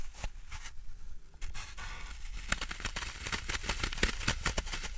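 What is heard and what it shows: A large, solid green floral foam block is held and handled over a wooden tray while fingertips and nails press into and scratch its porous surface. The result is a steady stream of soft, dry crunches and scratchy crackles with a low rumble beneath. Many short, bright clicks punctuate it and grow busier in the second half.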